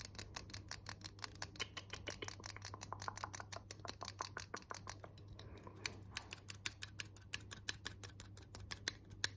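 A small gold-coloured metal hair claw clip with toothed jaws, held in the hands, is tapped with fingernails and snapped open and shut. The result is a rapid, steady run of dry, bright clicks over a faint low hum. After a brief lull the clicks return sharper and louder, with crisp high metallic ticks.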